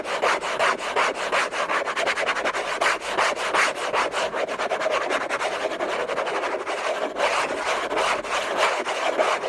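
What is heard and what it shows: Short nails and fingertips scratch hard and fast across the hollow lid of a large, flat orange Hermès cardboard box, with a thin bracelet on the wrist. The result is a steady, loosely rhythmic stream of dry, rasping strokes, concentrated in the midrange with some bright hiss and almost no low end.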